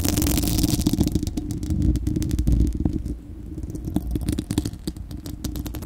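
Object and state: Metal mesh microphone grille.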